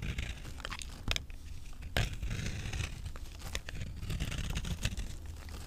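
A palm-sized, solid rectangular bar of dry green vintage avocado soap is held in one hand while its surface is shaved and scraped with a utility knife blade, leaving powdery, crumbly shavings. The clip is a steady run of dry, crunchy scraping and crinkling with a few sharper, louder strokes and short bright rasps. The blade strokes die away almost at once.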